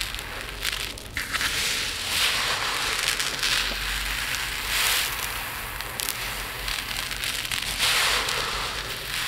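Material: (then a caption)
Resin. Fingers with long nails scratch and rake through a pile of loose, tiny resin diamond art drills filling a dark plate. The granular pile gives off a steady, bright crackling and rattling rustle that swells in louder sweeps and eases back between them.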